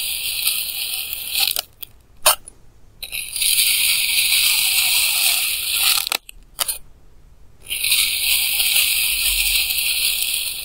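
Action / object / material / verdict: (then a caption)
scrape / moulded kinetic sand block cut with a plastic knife / kinetic sand / none. A clear plastic knife slices thin layers from solid pink kinetic sand blocks with stamped patterns, recorded with a lavalier mic held close but not touching. The result is a bright, hissy, grainy scraping that is almost entirely high-pitched. Long cutting strokes are broken by two quiet pauses, with a few short crisp crackles in between.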